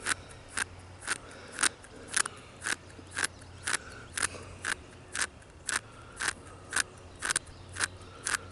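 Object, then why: Tree bark scratched by fingernails. Short fingernails scratch and pick at the crevices of a large, solid tree trunk with deeply furrowed grey bark, heard up close. There are 19 brief, dry, crackly scrapes at a steady pace of about two per second, each bright and crisp and dying away almost instantly over a faint low hum.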